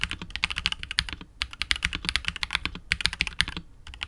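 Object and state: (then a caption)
Mechanical keyboard being typed on. Continuous typing with the fingertips of both hands on a KBD67 Lite R2 65% mechanical keyboard with KTT Wine Red switches, PBT keycaps and a hollow, clear translucent polycarbonate case. Rapid, crisp keystrokes give bright, sharp clacks with a soft low thump beneath, each dying out almost instantly, with a few brief pauses between bursts.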